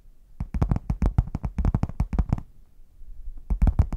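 Long nails tap and scratch the printed front of a red padded faux leather zip case, which is hollow, closed and tilted. A quick run of short, dull, hollow taps with a deep low body comes first, then a brief quiet scratchy pause, then a second cluster of taps near the end.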